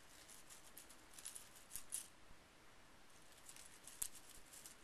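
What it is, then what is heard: Small metal brads being raked. Fingertips sweep and rake small painted metal scrapbooking brads spread on a bamboo mat, making a quiet, steady scratchy rustle. Light, bright metallic clinks rise out of it at irregular moments as the pieces tap against each other.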